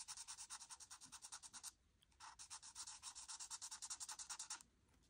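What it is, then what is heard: Marker scratching on paper. A marker nib is scratched back and forth across a flat white paper coloring sheet to finish filling in an orange oval, giving fast, crunchy, bright strokes. The strokes come in two bursts separated by a short pause, then fade to quiet.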